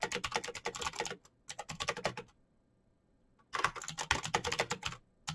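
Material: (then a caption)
Plastic. Fingertips type rapidly on a black, backlit plastic mechanical keyboard with clicky switches, making dense, bright clacking in three bursts separated by short pauses. Each keystroke is a short, sharp click that dies away almost instantly.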